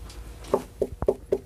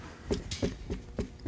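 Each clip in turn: First: Four short, muffled knocks with a mid-low thud around 400 Hz. The folded rag still lets sound through. Second: Five soft, dull knocks that stop almost at once: foam over wood, dead and well isolating.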